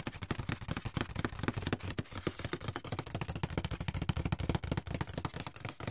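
Fingertips and nails scratch and rub the brown inner bottom of an open, empty white paperboard box. The result is a rapid, steady stream of short, dry scrapes and taps, with a low, hollow body under brief, bright, crackly edges that stop with no ring.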